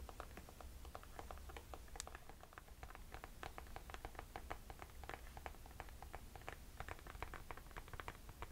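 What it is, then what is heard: Mesh and rubber sneaker. Long nails tap and scratch the white rubber sole and green mesh upper of an empty Nike sneaker held up in the air. A rapid, uneven run of short, dry clicks and soft scratches sits over a steady low hum.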